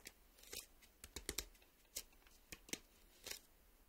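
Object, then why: Cardboard VHS tape sleeve. Fingertips and nails tap and scratch a closed, printed cardboard VHS tape sleeve, probably with the cassette still inside. Eleven short, dry, irregular clicks and scrapes are heard, bright and papery with almost no ring, over a quiet background.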